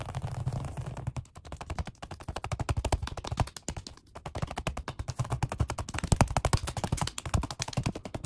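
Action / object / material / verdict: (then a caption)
tap / vinyl-covered foam bench pad / vinyl, foam / none. Fast fingertip tapping on a black padded workout bench seat with a red stripe, made of vinyl over foam. The tapping comes in rapid, uneven bursts of short, dull, low thuds that die away almost at once, with brief pauses between runs.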